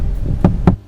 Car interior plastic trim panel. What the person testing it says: bisa denger suara ketukannya saya lagi ngetop plastik mainan anak kecil